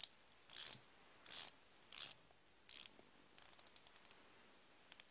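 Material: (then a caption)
Chrome steel. A thumb spins the ratchet ring of a solid chrome steel flexible-head ratchet wrench, producing four short, bright, buzzy whirs of rapid pawl clicking. These are followed by a quick series of distinct sharp clicks and a final pair at the end. The sound is thin and high, with almost no low end and very little ring after each click.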